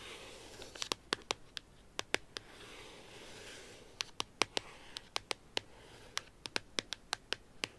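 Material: Paper.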